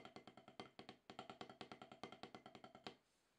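Wooden drumsticks tap quickly on a solid, octagonal HQ rubber-top snare practice pad, making 26 short, dry, woody knocks with a bright attack and almost no ring. The taps come in an uneven stream for about three seconds, then stop, leaving faint hiss.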